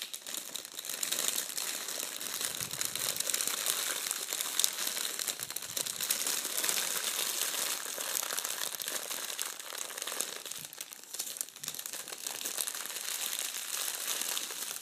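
A thin sheet of shiny red metallic foil gift wrap on a wooden table is crumpled and squeezed into a bunch by hands with painted nails, using fingertips and palms. The result is a dense, continuous, irregular crackle of bright, crisp crinkles with almost no low end, lasting about fifteen seconds at a fairly steady level.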